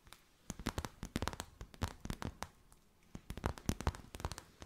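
A thin, clear, crinkly plastic sheet or bag with a gold edge is held in both hands and crinkled and folded by fingers with long white nails. Bursts of sharp, dry crackles come in two clusters with a quiet pause between them.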